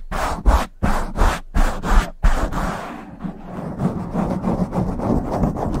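Both hands rub and scratch a black foam windscreen on a silver microphone with long nails. Several loud, deep rubbing strokes come first, separated by short gaps. They then give way to a continuous, softer scratching and swirling that stays low and muffled.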